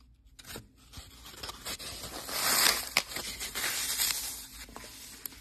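Fingertips and short nails press into a dry, unsoaked green floral foam brick, a solid block of lightweight porous phenolic foam, tearing it and crushing it into crumbs over a metal bowl while a brown sahara foam block sits beside it untouched. The sound is a bright, dry crackling and crunching that swells toward the middle, broken by a few sharp snaps. It then settles into softer crumbling.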